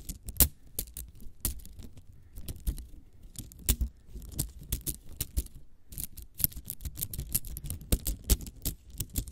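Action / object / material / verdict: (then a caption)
scrape / plastic coil spring toy / plastic / none. Long acrylic nails scratch, click and flick along a small hollow spiral cat toy made of nested green and yellow plastic coils, held in both hands above the mic. The result is a rapid, irregular stream of sharp, bright clicks and scratchy rasps over a soft low rumble. Each tap dies away almost instantly.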